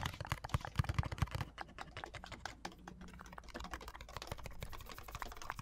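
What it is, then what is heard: Plastic lotion pump bottle. Long nails and fingertips tap rapidly on the sides of a large, hollow white plastic Olay pump bottle that appears full. The result is a dense, irregular stream of short, dry clicks with a dull, low-weighted knock. The taps are loudest and sharpest in the first second and a half, then settle into a softer, steady patter.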